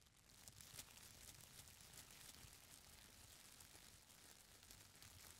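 Fingers grip, squeeze and scratch the edges of a folded stack of thin purple tissue paper with long nails. The result is a soft, steady stream of bright, papery crinkles and scratches with a faint low rustle underneath and no clear pauses.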